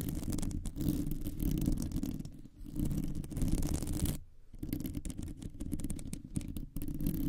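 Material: Metal mesh.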